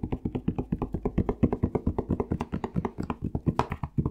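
Fingertips tap quickly on a plastic Palmolive shower gel bottle. The result is a rapid, slightly uneven stream of short, dull, hollow knocks, mostly low in tone, with a quick decay and almost no bright top.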